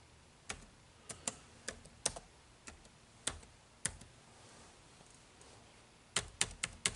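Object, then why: Plastic laptop keyboard keys. Fingertips type on the dark plastic keys of an HP laptop keyboard, making 13 short, bright, dry clicks with almost no ring. The taps come in an uneven run, then a quiet stretch of nearly two seconds, then a quick burst of four at the end.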